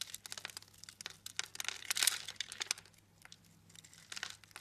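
A blade pops small scored cubes off a solid blue soap bar, making a rapid run of dry, crisp snaps and crackles that are bright and very short, with no ring. The snaps come densely, peak in a loud crunchy burst around the two-second mark, thin out for a moment, then pick up again more softly over a faint low hum.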